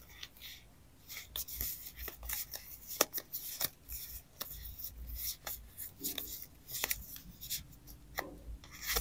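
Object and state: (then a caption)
Paper sticker stack. Long acrylic nails and fingertips rub, riffle and scratch through the edges of a thick, solid, layered handful of die-cut paper stickers with girl illustrations, held in both hands. Soft, bright papery scratching and rustling is broken by many quick, sharp ticks and flicks with almost no ring, at a quiet level throughout.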